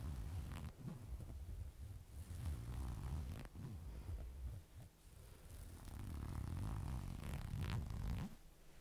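A burgundy knit fabric garment held up in one hand has its surface scratched and rubbed with long dark nails. The result is quiet, continuous rustling and scratching with a deep, muffled rumble underneath. It comes in uneven strokes and faint bright scratches.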